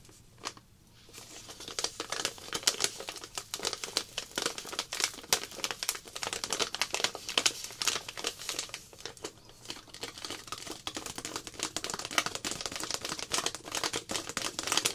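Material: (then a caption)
Plastic film. Long black nails crinkle and scratch the film of a small, clear plastic zip packet holding powder, with a printed label, held in both hands. A steady stream of sharp, bright crackles and rustles fills the clip, with almost no low end.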